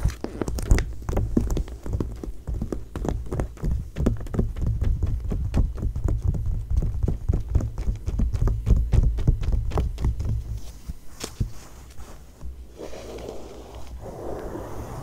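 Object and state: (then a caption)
Glossy paper magazine. Long nails tap rapidly and unevenly on the pages of an open glossy paper magazine lying flat, its spread showing a small photo, with the dry clicks running over a steady low hum. After about ten seconds the tapping thins out and quietens, and it gives way to a soft, hissing scratch across the paper.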